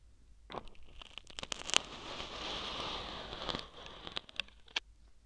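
Two or three thin metal acupuncture needles poke and scratch the soft, porous white foam end of a foam-tipped microphone in a gold glitter tube. The result is bright, crackly scratching with sharp clicky pokes and a steadier rasping stretch in the middle, mostly in the high range with little low end.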